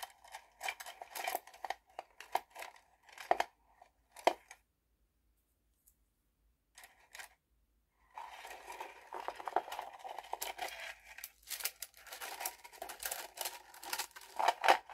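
Fingertips and long painted nails run through, pull and rattle a bundle of thin bamboo skewer sticks standing in a small wooden box. Short bursts of dry, woody clicking and clattering centered in the midrange come first, then a near-silent pause with a few faint ticks. A dense, continuous rattle of sticks knocking together follows until the end, with bright crisp edges.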